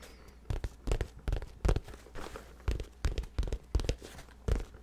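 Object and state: Nylon fabric bag scratched and tapped.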